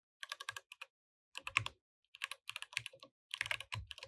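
Both hands type continuously with their fingertips on a compact mechanical keyboard with plastic keycaps, producing about 24 sharp, bright clicks. The clicks come in four quick bursts separated by short pauses, with occasional low thumps beneath them. Each click is dry and stops almost instantly.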